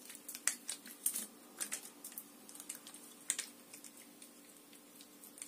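Long nails tap and scratch a hollow, mostly empty clear plastic water bottle with an orange cap held in the hand. The result is a quiet, uneven series of sharp, bright clicks with tiny ticks and scratchy rustles between them. Each tap dies away almost instantly over a faint steady hum.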